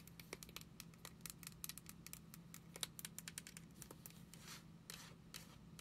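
A small, hollow beige plastic sample shampoo bottle with a white cap is held in the hands and tapped and scratched with long nails. The result is a rapid series of quiet, sharp, bright clicks mixed with scratchy rustles, over a faint steady low hum.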